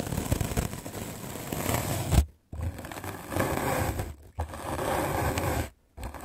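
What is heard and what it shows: A white rectangular magic eraser block of solid melamine foam is held in the hand and scrubbed aggressively with a medium black-bristle paint brush. The scrubbing makes a dense, rough, bristly scraping with a heavy low rumble. It comes in long continuous bursts broken by brief silent pauses.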